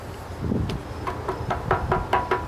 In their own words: it's a zinc Monument right it's Hollow